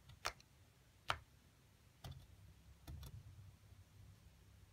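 A metal seafood pick scrapes and pries loose plaster chunks around a figure buried in a solid white plaster dig block, which lies flat and is held steady by one hand. The scratching and chipping produce a few sharp, bright, irregular ticks over a quiet low rumble, followed by softer scraping.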